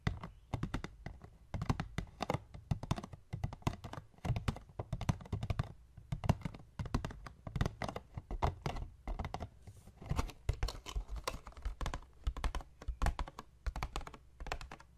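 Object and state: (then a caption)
Hollow cardboard box. Fingertips and short nails tap and scratch the surface of a medium, hollow white paperboard box, first as it sits on a wooden table and later as it is held in hand. The result is a steady flurry of quick, soft taps: dull, low, hollow thumps with crisp clicky edges that die away almost instantly, and faint scratchy rasps between them.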